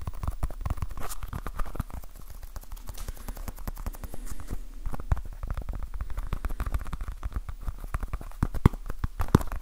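Fingertips and nails tap fast on a small, solid, soft orange foam stress ball patterned like a basketball, held in both hands. It makes a dense, continuous patter of short, muffled thuds that are mostly low and die away almost instantly, with a few sharper, louder taps standing out.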